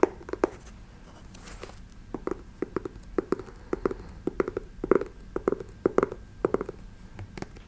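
Long nails tap rapidly on the glossy toe cap of a black patent leather boot with a brown sole, held horizontally. The crisp, dry clicks have a hollow, mid-low knock around 375 Hz and die away almost instantly, coming in quick irregular bursts over a quiet background.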